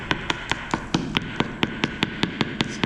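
A freshly laid ceramic floor tile on dry mortar mix is tapped 14 times in a steady rhythm, each short, sharp knock clicking bright and dying away almost at once. The tile sounds hollow because air is trapped underneath from poor bedding of the dry mix.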